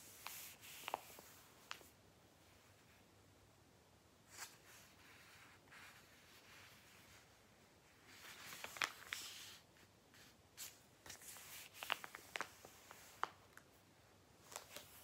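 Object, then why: Thick glossy paper catalogue. Fingertips slide across and flip the thin pages of a thick, glossy Argos paper catalogue open on a lap, rubbing the paper. Quiet, bright rustles swell and fade, peppered with short, crisp paper ticks and snaps. Near-silent pauses fall between the page movements.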